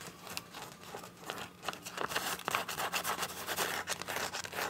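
Long nails scratch and tap the surface of a clear, soft PVC zip pouch with teal print and a zipper edge. The result is a quiet, irregular stream of bright, crinkly scraping and short plastic taps with almost no low end.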